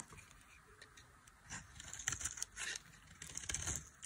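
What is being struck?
Bar of soap scraped with a knife.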